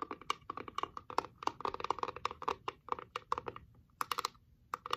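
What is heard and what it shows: Long acrylic nails tap rapidly on the heart-shaped glass lid and flat wooden base of a small reddish wooden box, held in both hands, whose heart window shows a painted rose. The taps are quick, dry clicks with a bright ring near 1 kHz and almost no decay. Irregular bursts run continuously, with a brief pause before a final cluster.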